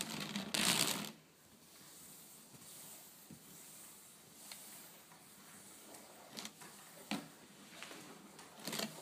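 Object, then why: Woven wicker tabletop. Fingers and long nails rub and scratch over a flat woven rattan/wicker tabletop. A loud, bright, broadband scrape opens the clip in the first second. It then gives way to a soft, steady hiss of scratching across the weave, broken by short, sharp ticks and rasps.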